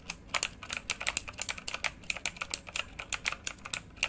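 Fingertips of both hands type quickly on a full-size plastic mechanical keyboard with RGB-lit keycaps. About 27 short, bright, clacky keystrokes land in an uneven, rapid rhythm, each dying away almost instantly with very little low end.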